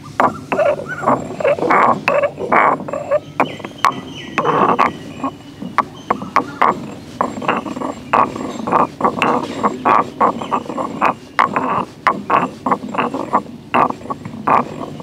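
A solid stone pestle is ground and rubbed by hand inside a hollow, grey carved stone mortar. Many short, gritty scraping strokes repeat steadily, rasping in the midrange around 1 kHz over a soft, constant grinding bed.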